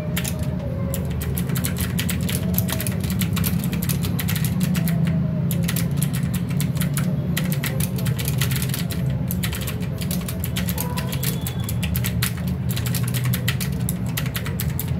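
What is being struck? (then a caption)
Plastic mechanical keyboard. Fingertips of both hands type continuously on a full-size mechanical keyboard with plastic keycaps and RGB backlight, resting on a desk mat. Rapid, bright key clicks and taps run without pause over a steady low hum around 170 Hz, with faint wavering tones in the background. The level stays even throughout.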